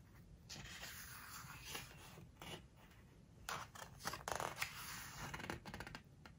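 Fingertips rub across the glossy paper pages of an open book, then turn a page. Soft, dry rubbing and papery swishes rise into brighter, crinkly rustles as the page lifts and flips over.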